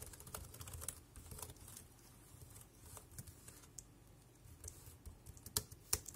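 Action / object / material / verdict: tap / plastic wireless keyboard / plastic / none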